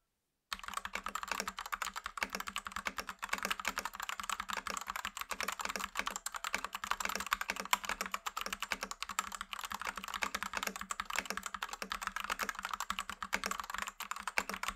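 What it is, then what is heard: Plastic mechanical keyboard. A white Rexus Daiva south-facing 65% 68-key gaming mechanical keyboard, with a plastic case and white plastic keycaps, is typed on with the fingertips of both hands. After a brief silence, a steady, rapid stream of short, sharp plastic clacks runs continuously, bright and midrange-heavy with almost no low end, each keystroke dying away instantly.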